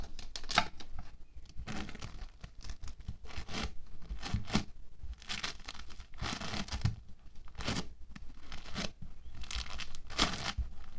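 A soft, hand-sized solid block of orange foam clay made of tiny polystyrene beads (playfoam) sits on a white table while fingertips and palms press, squeeze and pull it apart. The result is a series of crisp, crackling, tearing bursts with a bright, gritty texture over a low background rumble.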